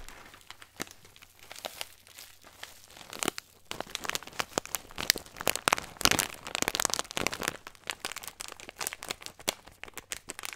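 A small clear plastic bag with a green label, full of nuts, is held up and then crinkled and squeezed with the fingertips. Dense, bright crinkling and crackling pops come in rapid bursts, sparse and quieter at first, then louder and busier from about halfway on. There is almost no low end, and each snap dies away instantly.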